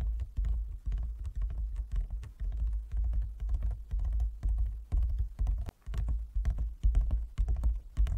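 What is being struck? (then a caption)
Closed wooden folding chess board. Fingertips and nails of both hands tap rapidly on a large, closed, hollow wooden folding chess board. Dense, uneven patter of low, hollow thumps with short, sharp clicks that die away quickly, continuing steadily throughout.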